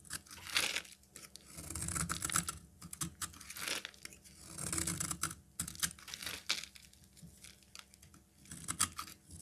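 A solid peach-colored rectangular bar of soap, held in hand, is scraped and cut with a metal utility knife blade, shedding powdery shavings. Dry, crisp scraping and crunching strokes come in repeated swells, bright and papery like tearing, with a soft low rumble beneath.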